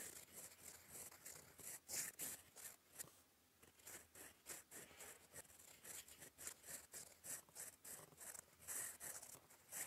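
A gold fountain pen nib writes in black ink across a flat sheet of lined cream paper, scratching in cursive strokes. The clip is a quiet, bright, dry scratching made of many short, irregular strokes with brief pauses, mostly high-pitched with almost no low end.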